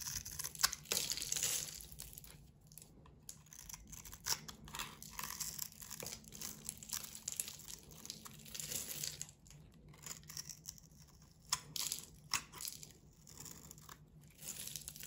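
A hand-sized, solid rectangular bar of soap with a blue glittery coating and heart decals is held in one hand and shaved with a metal box-cutter blade, peeling off white soap curls. The result is a quiet, bright, crisp crinkling and scraping made of many short, dry strokes, with brief louder bursts throughout.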